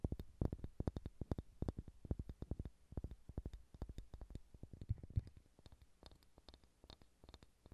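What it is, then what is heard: Wooden ball. Fingernails tap and scratch a solid, pale pine wooden ball in rapid, uneven bursts. Each tap is a short, dull, low knock that dies almost instantly, with faint bright scratchy edges between hits. The tapping is busiest early on and thins to lighter, sparser scratches toward the end.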